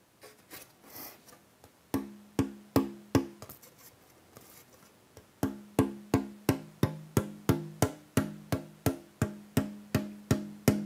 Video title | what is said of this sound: Wie man eine Westerngitarre baut - SWR Handwerkskunst | Hier in den Bereichen, da hört man jetzt, dass da deutlich mehr Nachklang dabei ist.